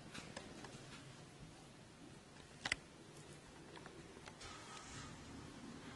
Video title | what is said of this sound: Cevizli Ev Baklavası Sunum / Çıtır çıtır ev baklavası sesi açmayı unutmayın😉 Tatlı Tarifleri | Henüz daha çıtır çıtır. Bugün üçüncü günü şerbeti dökmemin aslında.